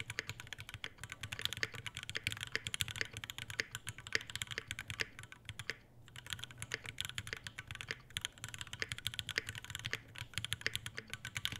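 Fingertips type continuously on an Iron180 tenkeyless mechanical keyboard with white ABS keycaps, Alpaca V2 switches, a brass plate and a dark metal case with a brass bottom. Rapid, bright, short clacks run throughout over a faint low hum, with a brief lull near the middle.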